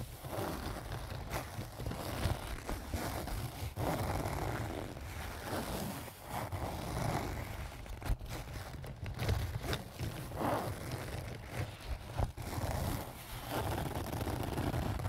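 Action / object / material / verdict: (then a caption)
scrape / canvas zip pouch / canvas / none. A small pink-and-white leaf-print canvas zip pouch, soft-sided and apparently filled, is scratched with fingernails near the top and sides. The result is a steady, dry scratching and rustling over a heavy low rumble, broken by frequent sharp scrapes that stop almost at once.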